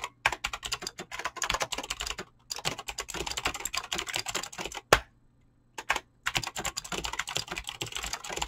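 Fingertips type fast on a Razer BlackWidow mechanical keyboard with clicky green switches and pink-blue dyed PBT plastic keycaps. Dense, bright, sharp clicks come in quick bursts, with short pauses near 2.3 seconds and 5 seconds. A single louder clack sounds just before the longer pause.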